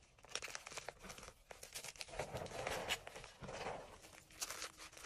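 Fingertips grab and crush brittle chunks of white and pale green dyed gym chalk and powder in an enamel bowl. A dense run of dry, bright crunching and crumbling crackles, with short sharp snaps that die away almost instantly.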